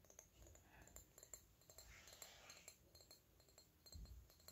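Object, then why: Small glass perfume bottle. A small, hollow, dark purple glass perfume bottle with a red cap is held in the hands while fingernails tap on the glass. The result is quiet, light clicks with a bright, high glassy tick that dies away almost at once, over a soft low rumble.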